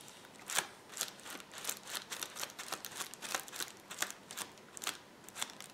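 Fingertips and nails rapidly scratch and press the bubbles on a rolled clear plastic bubble wrap roll. The result is a steady stream of quiet, bright crinkling and crackling with short sharp snaps and almost no low end.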